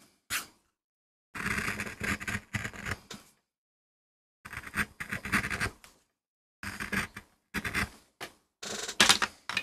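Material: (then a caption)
MDF. A metal gouge carves and scrapes the surface of a small, flat, solid MDF board with short strokes while cutting a rose design for a relief print. Dry, bright scratchy bursts come in quick clusters separated by moments of silence, each cut ending almost at once with no ring.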